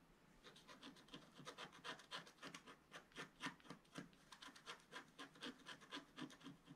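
A wooden stylus scratches small flower details into the bottom right of a flat page of wax-coated scratch art paper. Quick, short, dry scraping strokes repeat at a brisk, slightly uneven pace, with bright, crisp texture and little low end. The clip is quiet throughout.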